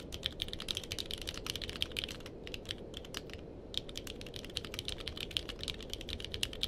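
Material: Plastic.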